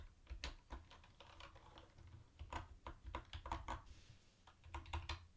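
Fingertips type on a mint-green plastic retro keyboard with round white plastic keycaps, tapping individual keys. The result is a quiet, irregular run of soft clicks with a low, muffled thump under each keystroke. Brief brighter clacks stand out here and there.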